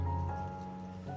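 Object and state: Nothing is struck.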